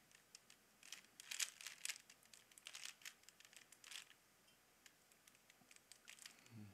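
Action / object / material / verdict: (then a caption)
scrape / plastic puzzle cube / plastic / none. A small, hollow plastic Rubik's cube is held in both hands while fingertips twist its layers. The result is a quiet, irregular run of sharp, bright plastic clicks and crinkly rubbing, with a few denser bursts early on. A faint low thud sounds at the very end.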